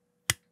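A finger flicks the small metal tail of a soju bottle cap. One sharp, bright snap is heard, with a quick low thump underneath that fades within a fraction of a second.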